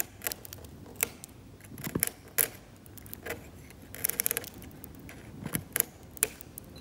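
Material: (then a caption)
Oil paint. A hand-held metal scalpel scrapes paint from the blue-grey ground of a flat, glossy, cracked varnished oil painting on canvas in repeated strokes. It makes short, dry, bright scratches and crisp ticking clicks with no ring, some in quick clusters, over a faint low background.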